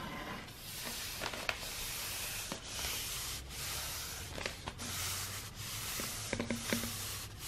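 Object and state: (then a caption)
Rolled kraft wrapping paper being rubbed. Fingertips and nails rub along the surface of a hollow roll of brown, star-printed kraft wrapping paper held close to the microphone. It makes a steady, bright, papery scratching hiss in long strokes, with a few small sharp ticks as the nails catch.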